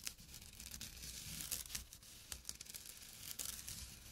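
A small, flat, empty jute burlap drawstring pouch lying on dark cloth is scratched with short fingernails and fingertips. The result is a steady, dry, rasping scratch, bright and papery like tearing or crinkling, with sharper strokes standing out now and then over a faint low hum underneath.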